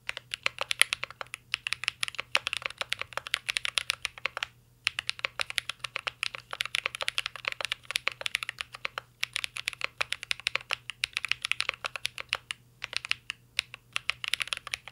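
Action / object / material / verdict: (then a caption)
tap / mechanical keyboard with plastic keycaps and metal case / plastic / none. A mint-green Cyberboard R3 mechanical keyboard with plastic keycaps and a metal case is typed on continuously with the fingertips. Dense, crisp, bright clicky key taps come in rapid bursts with brief pauses, each tap dying out almost instantly, over a faint low steady hum.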